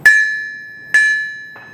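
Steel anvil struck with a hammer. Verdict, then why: Ringing. A Peter Wright steel anvil, set on rags or rubber to insulate it from its stand, is struck twice with a hammer in a ping test. Each blow gives a clear, high ring around 1.7 kHz with a lingering after-tone. The ring marks it as a steel anvil rather than a dull cast iron one.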